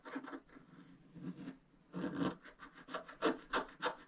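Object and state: Wax-coated scratch art paper.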